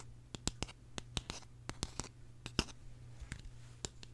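A small, hollow, purple hard-plastic case shaped like a tulip is turned in the hands, then tapped and scratched with long nails. Short, sharp clicks and taps ring bright and die away almost instantly, with faint scratchy rustles between them. A steady low hum sits underneath throughout.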